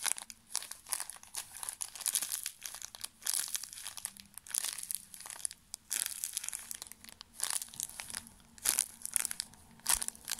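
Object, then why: Thin plastic film wrapper of a pocket tissue pack. A small, full pocket tissue pack wrapped in thin plastic film is squeezed and crinkled with fingertips close up. It makes bright, crackly crinkles in irregular bursts, each with a near-instant decay, over a faint steady low hum.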